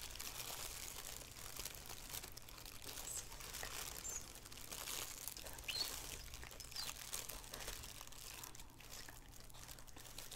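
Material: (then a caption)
Plastic. Fingertips and long nails scratch and crinkle the plastic inside the white elastic rim of a thin, empty black plastic shower cap resting on a wooden table. The result is a quiet, continuous, bright crinkling and rustling over a faint steady low hum, with small scratchy peaks scattered throughout.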